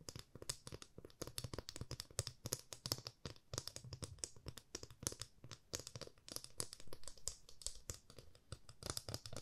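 A 30 cm solid light wooden ruler, held in both hands, is tapped with long fingernails. The result is a rapid, steady stream of short, dry clicks, each with a bright crisp edge and a soft low knock underneath, dying away almost instantly at a quiet level.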